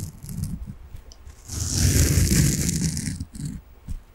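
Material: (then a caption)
Foam. A large, solid, soft peach-coloured foam sponge is held in the hands and scratched with fingernails, making a dense scratchy rustle with a deep low rumble beneath a bright hiss. The scratching builds into a long, louder stretch in the middle, then breaks into a few shorter scrapes.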